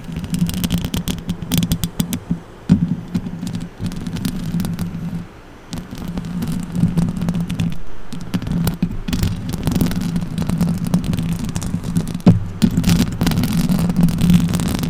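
The hollow steel mesh grille of a silver microphone is rubbed with fingertips and then scratched with long orange acrylic nails. The result is a close, boomy scraping and rustling with a steady low hum around 170 Hz, dense crackling texture, and sharp clicks that rise above it, briefly quieting near five seconds before continuing.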